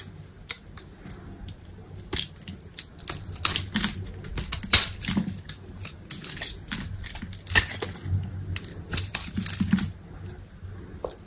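A utility knife blade carves a solid white bar of soap that has been scored into a grid, cutting cubes off while long pink nails hold the bar. Crisp, bright crunching snaps and scrapes come in irregular bursts over a faint low hum, each crack dying away almost at once.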